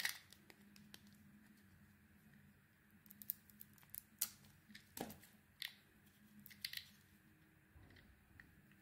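A solid, red-coated oval bar of soap with a white core is held in the hand and shaved with a utility knife blade. A series of quiet, sharp, bright scraping and slicing strokes, some crisp like snipping or tearing, stand out over a faint steady background hum. Each stroke dies away almost at once.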